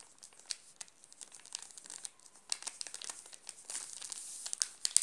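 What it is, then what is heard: Plastic-wrapped chocolate bar being crinkled. Fingertips and short nails scratch and press the shiny red-and-blue plastic film wrapper sealing a flat, solid Nestlé Classic milk chocolate bar, about 20 cm long, lying on a pink cloth. The result is quiet, bright, crisp crinkling made of many brief crackles with almost no low end, growing denser and louder in the second half.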